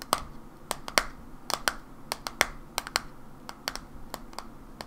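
A white plastic supplement bottle with a barcode label, held in hands, is tapped with long nails. About nineteen short, dry, bright clicks with a hollow midrange knock come in an uneven rhythm, each dying away almost instantly over a faint background hiss.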